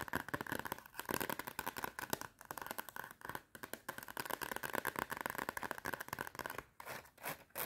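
Long red nails tap and scratch quickly on the cardboard cover of a clapperboard-style notepad with a metal spiral. Dense, rapid clicks and raspy scrapes fill the room with a busy mid-range rustle, bunched in bursts with brief pauses.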